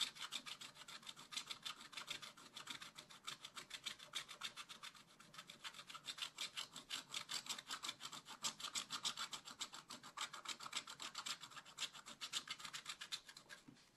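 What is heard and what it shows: A wooden stylus scratches rapid strokes into a giraffe's neck on a flat, black-coated scratch-art page in a spiral-bound book. The result is a quiet, steady run of dry, bright scratching with a fast rasping rhythm, almost no low end, and no ring after each stroke.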